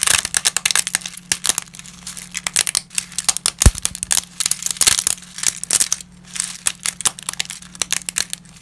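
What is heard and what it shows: Small, brittle pieces of uncooked lasagna pasta are snapped between black-gloved fingertips over a scattered pile. The result is a rapid run of sharp, dry, bright cracks and crinkly snaps, each dying away almost instantly, over a faint low steady hum.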